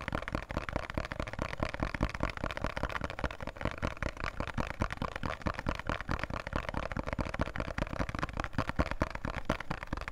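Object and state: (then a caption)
Cardboard soap box. A small, thin printed cardboard box of Khadi soap is held in both hands and tapped quickly with fingertips and nails. The result is a dense, irregular stream of short, dry taps and crackly clicks with a dull, hollow low thump. It continues steadily for about ten seconds.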